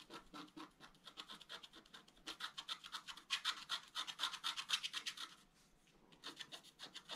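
A wooden stylus scratches fill lines into the basin drawn on a flat, black-coated scratch art paper card lying on a table. Quick, dry, bright scratching strokes repeat in a steady back-and-forth rhythm, growing louder in the middle. They pause briefly near the end, then resume more softly.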